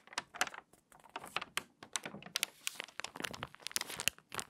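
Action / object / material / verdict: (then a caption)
scrape / glossy paper magazine / paper / none. A glossy paper magazine lies open at the puzzle pages while long nails and fingertips turn the pages and rub the paper flat along the spine. Quick, dry crinkles and sharp papery taps sound close and bright with almost no low end. Each one stops instantly, with short gaps between them.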